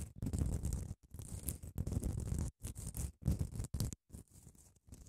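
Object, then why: Padded emery nail file. Long nails scratch and tap across the abrasive face of a long grey padded emery grit nail file. The strokes come as dense, rough bursts, heavy in low rumble with a faint bright hiss, broken by short silences between passes.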